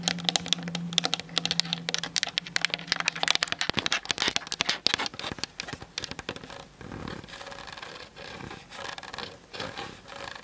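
Long nails tap rapidly on the sides and top of a plastic-bodied Canon DSLR camera, making a dense run of sharp, bright clicks. A faint low hum sits under the first few seconds, and the tapping then gives way to softer, scratchy rubbing and lighter taps.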